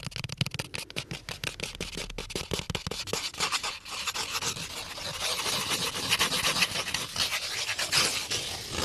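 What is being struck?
Small cardboard box of crayons.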